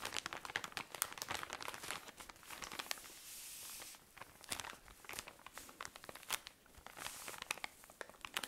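A tall cylindrical pack of cotton pads in thin plastic wrapping is squeezed and crinkled with fingernails. It produces dense, bright, crackling crinkles and sharp clicks, with a brief steadier hissing rustle partway through.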